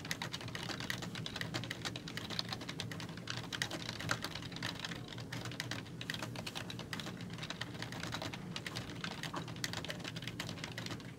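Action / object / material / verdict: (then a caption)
tap / plastic membrane computer keyboard / plastic / none. Fingertips with long nails type continuously on the hollow keys of a black, full-size plastic membrane computer keyboard. The result is a steady, quick stream of short, bright plastic clicks and taps over a soft low rumble.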